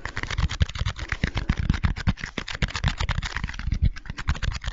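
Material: Foam beads.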